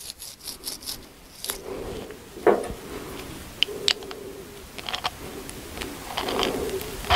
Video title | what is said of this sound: AL-KO plæneklipper - årligt eftersyn | Der er gået lidt rust i det her det knaser lidt